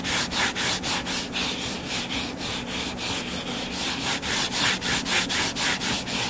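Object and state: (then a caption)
Hardcover book scratched. Short fingernails scratch the cover of a closed hardcover paper book lying flat and solid. The result is a steady, rhythmic run of dry, bright scratching strokes, about four per second, rising and falling in loudness over a faint low hum.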